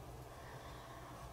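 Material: Nothing is struck.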